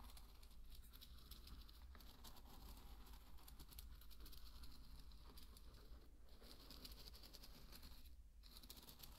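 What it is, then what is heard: Dry pearl barley grains being stirred. A thin wooden stick stirs through a bed of dry pearl barley grains, giving a soft, continuous patter of many tiny grain clicks and rustles over a steady low rumble. Faint and even throughout, the grains crackle brightly as the stick moves, with a few brief quieter gaps.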